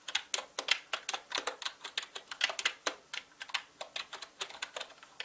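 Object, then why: Plastic mechanical keyboard. Fingertips type fast on a full-size black mechanical gaming keyboard with plastic keycaps and a hollow body. About 28 quick, sharp keystrokes clatter in an uneven rhythm. Each click is bright and dies away almost instantly, with almost no low end.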